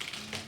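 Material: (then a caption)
Fried batter. Fried battered shrimp are tapped, giving three quick, crisp, crackly taps with bright high-frequency crunch and a short ring. The shrimp sound crispy.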